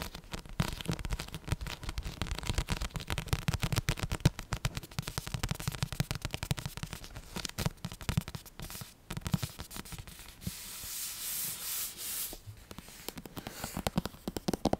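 Long nails scratch and rub the glossy paper cover of a thick paperback copy of Harry Potter and the Order of the Phoenix, a solid paper book. Dense, rapid scratchy clicks with a heavy low thump run throughout, and a smoother, brighter rubbing hiss swells near the end before the quick scratching resumes.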